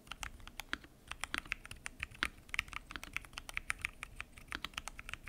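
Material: Plastic.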